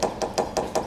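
A hammer taps five times on a fiberglass boat hull that is delaminated. Each tap gives a hollow knock with a mid-pitched tone and a secondary reverberation, as the fiberglass buzzes against the gelcoat layer.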